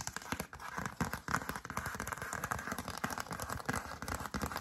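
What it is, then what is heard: Paper greeting card. A thin, glossy yellow cardstock greeting card reading "Going Home" is held up in both hands while long dark acrylic nails tap and scratch across its front. The result is a dense, steady run of quick, dry papery clicks and scratchy rasps centred around 1.4 kHz, each dying away almost at once.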